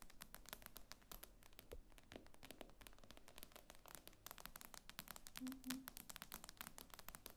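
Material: Glass.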